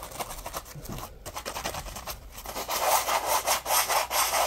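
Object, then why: Polymer foam scrub sponge. A palm-sized, porous yellow polymer foam Scrub Daddy puppy sponge is held in both hands while fingertips rub and scratch the foam. The result is rhythmic, dry scratching strokes, soft at first, that grow louder and brighter with high crackly detail over the second half.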